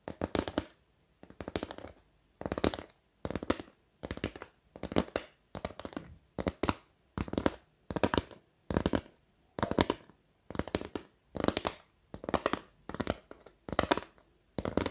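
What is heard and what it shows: Long acrylic nails scratch and tap across the printed surface of a flat, thin card, likely cardboard, with a galaxy print and Korean lyrics, held up in the air. Short bursts of quick, crisp clicking and scraping repeat about once a second, each cluster separated by near silence. The sound is dry and close, with no ring after each tap.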